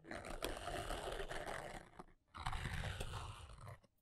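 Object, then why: Cardboard box. A long nail scratches and taps across the printed top of a flat, hollow brown cardboard box. Two dense stretches of rasping scratches are heard, split by a brief pause near the two-second mark, with a hollow, low body under a brighter scraping texture.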